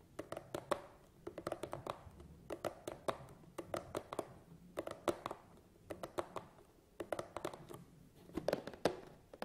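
Fingertips tap on the sides of a long, hollow cardboard tripod box, then fingernails tap on its top. The result is clusters of short, dry, hollow taps with a quick decay, each with a bright click over a midrange body.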